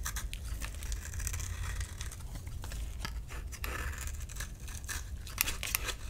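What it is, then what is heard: Bar soap carved with a blade. A solid orange bar of soap held in the palm is scraped and carved with a utility knife blade into crumbly shavings. Quick, dry, bright scraping and crackling strokes come in an irregular series over a steady low rumble. Each stroke dies away almost at once.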